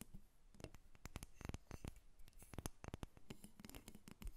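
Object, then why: Carved wooden figurine. Long red nails tap and scratch a solid carved wooden dolphin figurine as it sits on a table and is briefly lifted. Quick, dry clicks and taps come in an uneven stream over soft scratching, each one dying away almost at once.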